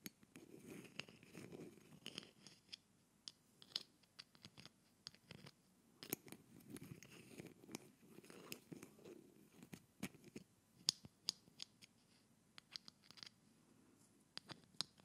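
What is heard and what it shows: A silver metal screw cap, held in the fingertips just above the neck of a small, dark-blue glass bottle that looks hollow and mostly empty, is tapped and scratched against it and twisted on and off close to the microphone. Quiet, bright scratching and grinding runs under many sharp, high clicks and taps that die away almost instantly.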